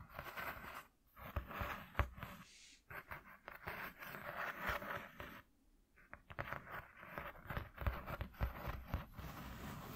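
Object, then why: Corrugated cardboard sheet. Fingertips and nails tap and scratch a flat white corrugated cardboard piece lying on a dark cloth. Dry, rustling scratches come in bursts with soft, low taps mixed in, broken by brief quiet pauses near one, three and six seconds.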